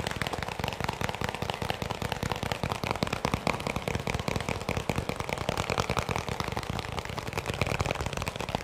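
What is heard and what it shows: A small, hollow white plastic round tub that appears empty is held close to the mic and tapped quickly with the fingertips. The result is a dense, steady stream of rapid, dry clicks with a low hollow thump and no ring, lasting the whole clip at an even level.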